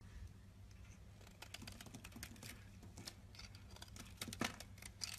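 A rectangular solid white soap bar held in the hand is scraped along its face and edges with a box-cutter blade. The sound is quiet, irregular dry scraping and crisp, bright shaving strokes over a low steady hum, with a few sharper scrapes near the end.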